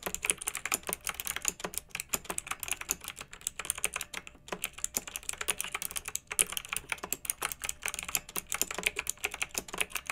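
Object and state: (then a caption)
Plastic mechanical keyboard being typed on. Fingertips with long nails type steadily on a pink backlit plastic mechanical keyboard with round typewriter-style plastic keycaps. The keystrokes come as rapid, bright, clicky taps with very short decay, in a continuous flowing rhythm with brief pauses.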